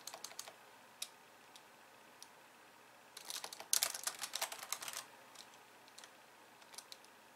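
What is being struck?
Plastic computer keyboard.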